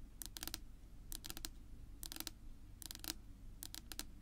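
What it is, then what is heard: Wooden tabletop tapped with fingernails. Long natural nail tips tap rapidly on a flat, solid dark wood-grain tabletop, making quick bursts of sharp, bright clicks in about five short clusters. Each click dies away almost instantly over a quiet, steady low rumble.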